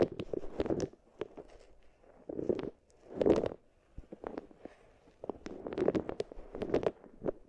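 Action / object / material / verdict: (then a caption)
scrape / wooden beads in a wooden bowl / wood / none. Long nails and fingertips rub, press and roll round solid wooden balls against each other and against two small wooden bowls, each holding a furry binaural mic cover. Dense clusters of soft clicks and rattling knocks come in bursts around a low-mid body near 340 Hz with bright ticks on top, separated by quieter pauses.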